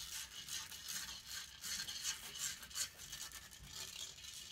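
Long painted fingernails scratch rapidly and roughly across the hollow metal mesh grille of a silver condenser microphone. The result is a dense, bright, hissing scrape in uneven, repeated strokes, with almost no low end.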